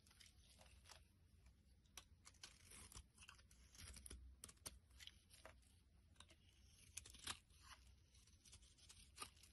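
A utility blade shaves flakes off the surface of a solid pale yellow soap bar held flat in the palm. It makes quiet, dry, crackling scrapes with many short, bright, crisp strokes over a low background rumble. Each cut ends abruptly with no ring.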